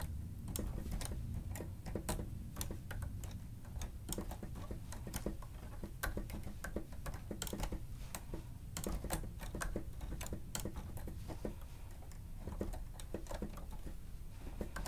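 Plastic stenotype machine keys are typed on with the fingertips of both hands, producing rapid, short clicking taps throughout. The sharp, bright clicks sit over a steady low rumble at a soft, even level.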